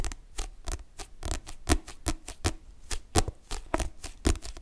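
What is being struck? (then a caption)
Paperback book with a glossy card cover. Long nails tap and scratch the glossy card back cover of a paperback book, making a quick, uneven run of dry, sharp clicks with soft scraping between them. Each tap is a brief broadband snap with a dull low thump beneath it and almost no ring. The loudest taps stand out from a steady patter of lighter ones.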